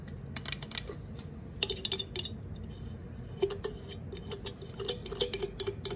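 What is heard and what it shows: Long acrylic nails tap and scratch the side and top of an unopened, apparently full 355 mL green Sprite aluminum can. The result is an irregular run of quick, bright clicks and light scrapes, each with a brief metallic ring around 395 Hz that dies away almost at once, over a faint low background hum.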